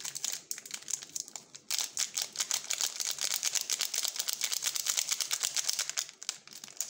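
Gloved fingertips squeeze and crinkle the purple glossy plastic wrapper of a small, full and sealed Jumka waffle bar. Sparse crackles at first give way to a dense, continuous run of bright, crisp crinkling that eases off slightly near the end.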